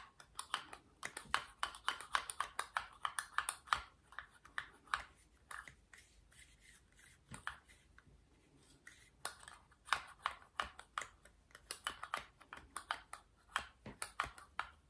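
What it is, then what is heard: Metal lipstick tube. Long painted nails tap and scratch the surface of a small rose-gold metal lipstick case, a hollow cylinder held in the fingers. Quick, bright, clicky taps each carry a brief metallic ping. A softer stretch of faint scratching in the middle separates two busier bursts of rapid tapping, all at a quiet, close level.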